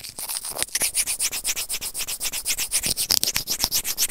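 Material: Plastic.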